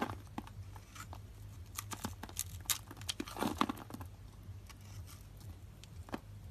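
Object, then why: Bar of soap cut with a metal blade. A metal utility knife blade scrapes and cuts small cubes off a solid lilac bar of dry soap, held in the palm and scored in a grid, and the cubes drop away. Quiet, dry scraping is broken by a run of short, crisp crunches and snaps with bright edges that die out almost instantly, over a steady low hum.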